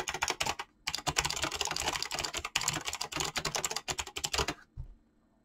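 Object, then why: Mechanical keyboard with plastic keycaps. Fingertips type rapidly on a Razer mechanical keyboard with clicky green switches and pink-blue gradient PBT plastic keycaps, producing a dense stream of bright, sharp key clicks. The bursts pause briefly near the start, run on with short dips, and end with one last keystroke before near-silence.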